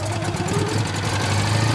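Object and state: Nothing is struck.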